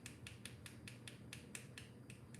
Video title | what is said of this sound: Live: Multicolored macarons from one batter | it sounds hollow yes see it just has that hollow sound